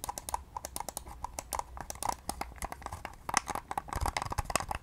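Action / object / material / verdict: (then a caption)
tap / plastic computer mouse / plastic / none. A pale pink hollow plastic wireless computer mouse is rapidly tapped and clicked with long nails. It gives a quick, irregular run of short, dry clicks with a hollow knock around 1 kHz and bright edges. A faint low hum sits underneath, and the taps cluster more densely toward the end.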